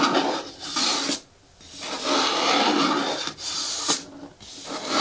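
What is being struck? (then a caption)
Hard plastic bucket with lid. Fingernails scratch and rub along the side edges of an upright green hard plastic bin with a lid and a handle. The result is a series of dry, bright raspy scraping strokes with brief quiet gaps between them.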